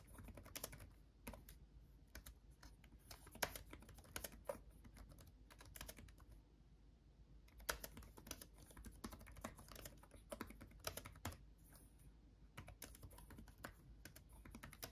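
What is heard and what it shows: Both hands type with their fingertips on a backlit laptop keyboard with plastic chiclet keys. The result is quick, dry, clicky taps that stop almost instantly, arriving in fast bursts with brief pauses, over a quiet low background hum.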